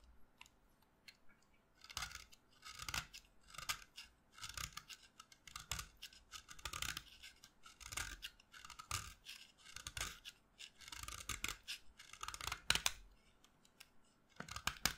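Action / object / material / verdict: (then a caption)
scrape / stick of chalk scraped with a knife blade / chalk / none. A short, solid white chalk stick held in the fingers is carved with a utility knife blade. Quick, bright scraping and cutting strokes repeat in uneven bursts with brief pauses between them. Each stroke is a dry, gritty rasp with a short attack and almost no ring, set over a quiet background.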